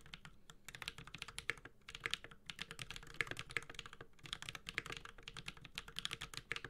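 Fingertips of both hands type continuously on a Space65 Cybervoyager, a 65% mechanical keyboard with a metal case, Holy Panda switches and ABS plastic keycaps. A rapid, steady stream of short, bright clacks sits over a soft low thump from each keypress, and every stroke dies away almost instantly.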